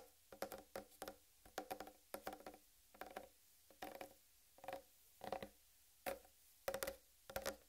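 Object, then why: Whole watermelon rind. Long red nails tap and lightly scratch the upper rind of a large, solid whole watermelon. The sound comes as quiet clusters of short, dull knocks with a faint mid tone around 540 Hz, each fading almost at once, with bright scratchy edges between near-silent gaps.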